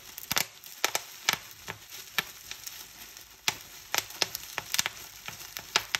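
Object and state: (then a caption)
Plastic bubble wrap being popped. Clear plastic bubble wrap is bunched in both hands while fingers squeeze and crumple it, popping many air cells. Sharp, bright pops burst out irregularly over a steady crinkling rustle of plastic, each pop dying away almost instantly.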